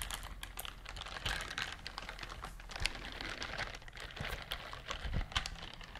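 A pink silicone bristled scrubber glove is scratched with long nails, producing a dense run of quick, dry, bright scratching and clicking sounds. The ticks sound like rapid typing over a faint low rumble, and each one stops almost instantly with no ring.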